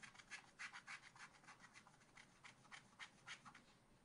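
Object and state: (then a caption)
Scratch art card being scratched. A wooden stylus scratches and rubs away the coating of a black-coated scratch art card in a spiral pad. Quiet, dry, bright scraping strokes repeat at about three per second in an uneven rhythm, each a short rasp with no low rumble.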